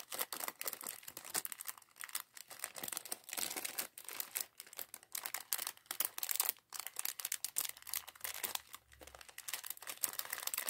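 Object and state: Plastic bag of LEGO bricks.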